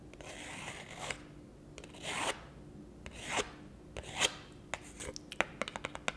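Long acrylic nails scratch and rub along the edge and faces of a thin, solid, round printed pulpboard beer coaster held in both hands. Four long, hissy, bright scrapes swell and fade, followed by a run of sharp, dry clicks and short scratches toward the end.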